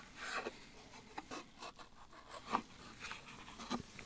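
Gloved fingertips handle a small, empty, open-ended white Coast cardboard soap box sleeve, tapping and scratching its hollow body. Soft, dry rubbing and scraping scratches repeat irregularly, broken by two sharper, brighter taps that cut off quickly. The sound stays quiet and papery, with little low end.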